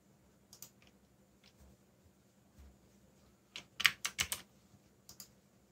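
Fingertips type quickly on a backlit black plastic mechanical keyboard, giving short, bright clacking keystrokes that die away at once. Scattered soft taps lead into a louder, quick run of clacks in the middle, followed by a couple of lighter taps, over a faint steady high hiss.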